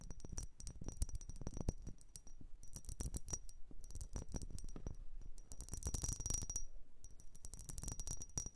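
A blue vase is tapped and scratched in quick, uneven bursts. The result is a rapid run of short, dry clinks and rattling scratches, with a bright, high tone over a low thud in each hit.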